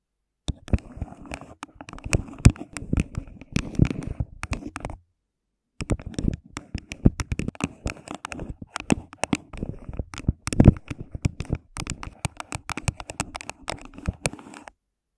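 Long pink nails tap and scratch the walls of an empty, hollow, thin clear plastic cup placed over the microphone, using both hands. Rapid, dry, hollow taps with a low thud mix with soft scratching, pausing briefly near the five-second mark before continuing steadily to the end.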